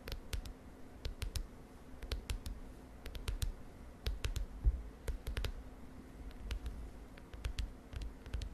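Long dark nails tap on the lilac plastic front cover of a large spiral notebook lying on a bed. Short, sharp, bright clicks come in quick irregular clusters, each dying away almost instantly over a steady low rumble.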